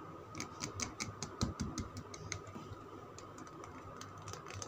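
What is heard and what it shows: Fingernails tap and scratch a solid oval green Lux soap bar with the logo visible. The result is a quick, irregular run of sharp, bright clicks with brief scratchy rubs and a steady faint hum underneath.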